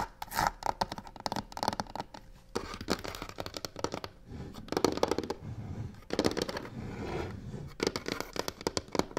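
Long nails scratch and tap the sides of a hollow box covered in black, embossed crocodile-texture faux leather. Dense, rasping scratch strokes alternate with rapid, dry taps that die away almost instantly.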